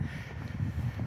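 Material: Nothing is struck.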